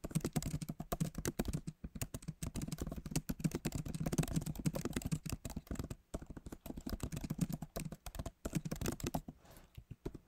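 Fingertips of both hands type quickly on the backlit keyboard of a MacBook Pro, with plastic keys set in an aluminum body, and the keyboard feels solid. A rapid, steady stream of short, dull taps and clicks sits mostly in the low range, with brief pauses near the middle and a thinning at the end.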